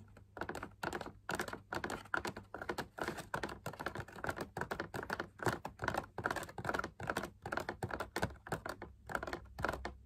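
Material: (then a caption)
Fabric. Fingertips and nails tap and scratch rapidly on the inner wall of a large hollow drum lamp shade, made of fabric over a stiff backing, perforated with swirl patterns, on a white metal wire frame. The result is dense, dry clusters of short clicks and scrapes centered in the midrange around 1 kHz, each dying away almost instantly, over a faint steady low hum.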